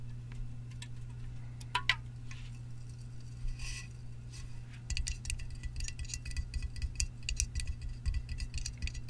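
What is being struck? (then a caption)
Aluminum drink can. A hollow Sparkling Ice black raspberry aluminum can, fill level not visible, is held and turned in one hand, giving faint scrapes and a couple of sharp clinks over a steady low hum. Then fingertips and nails tap the top and lid in a quick run of short, bright metallic ticks that ring around 2 kHz and die away almost instantly.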